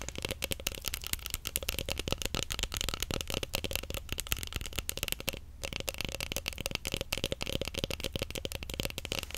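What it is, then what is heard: Roll of plastic stretch wrap. A large roll of clear plastic stretch film on a cardboard core, its wound layers solid, is held horizontally and tapped quickly with long nails. The result is a dense, steady stream of short, crisp clicks with a bright edge and a soft low thud underneath, with a brief pause around the middle.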